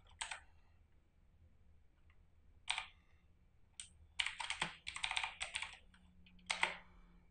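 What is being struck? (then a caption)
Plastic mechanical keyboard. Both hands type with their fingertips on a full-size RGB-backlit mechanical computer keyboard with plastic keycaps and a hollow plastic case, sitting on a desk. Bright, short clacks come in quick irregular runs separated by brief pauses, each click dying away almost at once over a faint low background hum.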